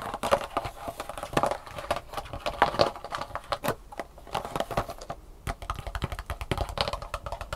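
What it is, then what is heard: Thin plastic sushi tray. An empty, thin black plastic sushi tray with hollow compartments is held tilted above a table while long painted nails tap quickly on the compartment tops. The result is a dense, rapid patter of short, dry clicks with a slight hollow, mid-pitched plastic ring and little low end.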